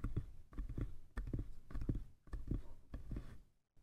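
Fingertips tap the sides of a small hollow wooden box, then a hand taps its lid, making a series of soft, dull, low knocks in loose, uneven clusters. Each tap dies away almost at once, leaving a brief near-silence before a last faint tap at the end.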